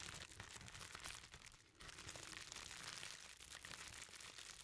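A hand-sized bundle wrapped in clear plastic bubble wrap, its contents hidden, is squeezed, rubbed and picked at by fingertips. It produces a dense, steady stream of bright crinkling and crackling. The sound eases briefly near the middle before resuming at an even level.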